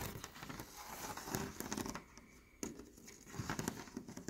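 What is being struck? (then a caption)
Leaded stained glass panel. Fingernails tap on a leaded stained glass window panel of textured clear, green and pink glass while fingers and a palm rub over its surface. The result is a soft, crinkly scraping and patter of light clicks. It quiets briefly around the middle, then a sharper tap brings the rubbing back.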